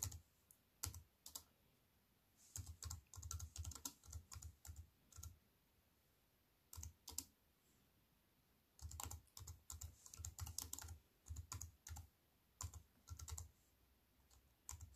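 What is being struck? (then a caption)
Aluminium and plastic wireless keyboard. Long-nailed fingertips type on a slim, silver-framed aluminium and plastic wireless keyboard with black plastic keys. Bursts of rapid, crisp keystrokes come in runs separated by short quiet pauses. Each stroke is a bright tick over a soft low thump that dies away almost at once.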